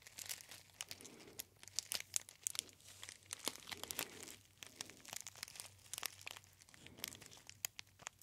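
A gold metallized foil tea bag pouch with a label is crinkled by fingertips close to the ear. Dense, bright crackling and sharp crisp snaps come in irregular bursts, with a faint low hum underneath.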